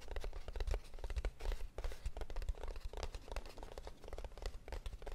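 A small, hollow, closed kraft cardboard box is held up and tapped and scratched with long nails. The result is a dense, continuous run of quick, dry taps and scratchy rustles with a low, hollow thump under them. Each tap dies away almost at once.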